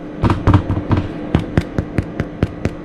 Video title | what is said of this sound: Episódio 1 - #paodasbeatas | Ouve-se o barulho oco que tem que se ouvir no pão. Tem que se ouvir este barulho.